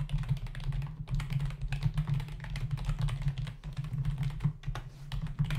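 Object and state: Plastic computer keyboard being typed on.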